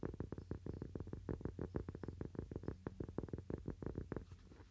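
A small, round, thin solid cork coaster is held in both hands and tapped quickly with fingernails. The result is a rapid, steady run of dull, soft knocks that sit mostly in the low range, with no bright edge. Each knock dies away almost instantly, leaving no ring.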